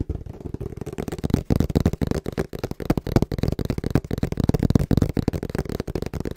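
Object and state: Cardboard box.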